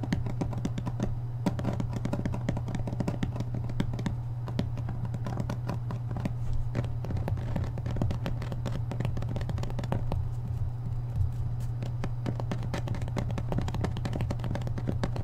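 A thick hardcover book in a paper dust jacket is held upright while the thumb and fingertips tap rapidly on its back cover. The result is a steady, dense stream of soft, short, dull taps over a constant low hum that runs through the whole clip.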